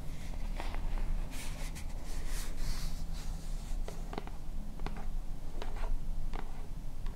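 Long painted fingernails scratch and tap a small, hollow white plastic lotion bottle with a purple pump top, fill level not visible. Soft scratchy rasps mix with short, dry, bright clicks over a steady low rumble, and each tap dies away almost at once.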